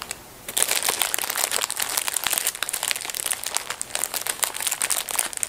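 A full blue plastic film packet of disposable gloves lies flat while hands in black fabric gloves tear it open and peel back the thin plastic wrapper. After a brief quiet moment, dense, bright crinkling and tearing of the plastic film runs continuously to the end.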